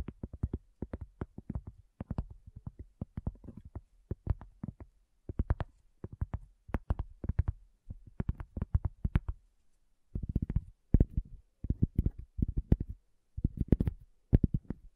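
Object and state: Cork coaster.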